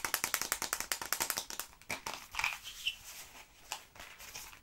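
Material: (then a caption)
Cardboard. A long yellow printed cardboard tube filled with small hard candies is held upright and shaken, with some finger tapping on the tube. A quick run of sharp, bright rattling bursts fills the first second and a half, then gives way to sparser, softer rattles and taps with a few faint tonal squeaks. The sound is dry and high-pitched with almost no low end.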